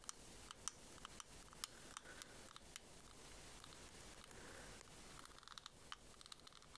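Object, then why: Small ribbed plastic shell-shaped case. A small white, ribbed, shell-shaped pearl case, hollow and likely hard plastic, is held in the hands and tapped and scratched with long nails. Quiet, sharp, bright clicks from the taps stand out over a soft, steady, scratchy rasp, with a denser run of light ticks near the end.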